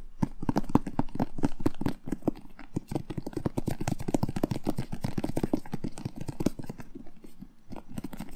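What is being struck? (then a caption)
Whole bell pepper. A whole red bell pepper, hollow with a glossy firm skin, is held in the hand and tapped and rubbed with fingertips and short nails. A fast, steady stream of soft, hollow taps and crisp scratchy clicks continues throughout, with a low, woody tone and short decay.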